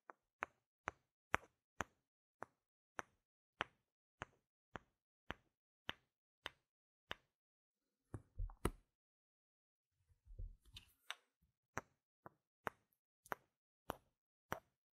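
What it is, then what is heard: Plastic game tokens clicked together. Two small, solid, round plastic game gem tokens are held in the hand and knocked and tapped against each other, giving a steady run of fourteen sharp, dry clicks with no ring. A brief rattle and a softer clattering shuffle follow, then six more crisp, bright taps close the clip.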